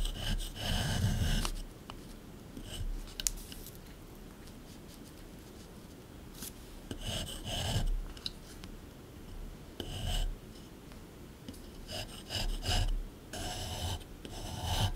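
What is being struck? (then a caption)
Plaster excavation block scraped with a metal tool. A small metal scraper chisels and scrapes grooves into the hard surface of a solid plaster dig block. Bursts of gritty, bright rasping scrapes alternate with quieter pauses, with occasional sharp ticks as the blade catches the plaster.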